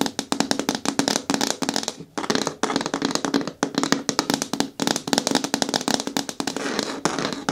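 Long nails tap quickly on the sides of a green hard plastic bucket bin with a lid and handle, held in both hands. The result is a rapid stream of crisp, bright clicks over a hollow plastic resonance around 270 Hz, broken by brief pauses near two, three and a half, and just under five seconds. Each tap dies away almost at once.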